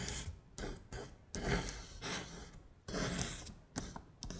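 A long acrylic nail traces and taps over red Korean letters printed on a flat beige paper sheet. It makes soft, dry scratchy strokes and light taps in short, uneven bursts, with a papery rasp that reaches bright highs over a faint low rumble. The sound is quiet, and each stroke fades out quickly.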